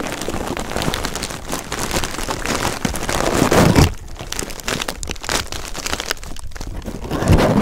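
Red shredded paper filler is pressed between two pencil microphones, likely by a hydraulic press, producing a dense, continuous crisp paper rustle with a low rumble. The crackling builds to a peak just before the fourth second, drops to a softer crinkle, then swells again at the end.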